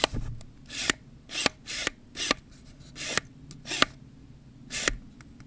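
Fingertips rub and twist the ribbed zoom and focus rings of a hollow, black plastic Canon 18-55 kit lens held in the hands. A series of short, bright, rasping scrapes swells and fades, several ending in sharp clicks, with quiet gaps between them.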